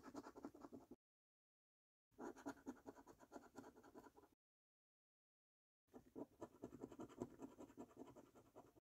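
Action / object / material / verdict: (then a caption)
scrape / latex-coated paper scratch card scraped with a coin / paper / none. A coin held in the fingers scratches the latex coating off the number panels of a thin, flat paper £15 "3x £1 Million Snack Stack" National Lottery scratchcard. Three quiet bursts of quick, uneven, raspy scraping are separated by short silences, with the sound concentrated in the mid range.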